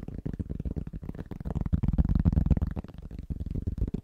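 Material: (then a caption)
Cork. Fingertips of both hands tap rapidly on a large, thin, solid round trivet of pressed cork. The result is a dense stream of soft, dull, low thuds with almost no ring and very little brightness, swelling slightly louder in the middle before easing off.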